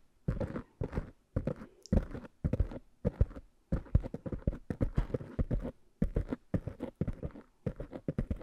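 Fingertips and long nails tap and scratch the tops of two small, soft black foam covers on microphones. The result is a steady run of muffled, low, thumpy bursts with a brushy scratching texture and no ring after each touch, separated by brief quiet gaps.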